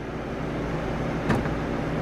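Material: Nothing is struck.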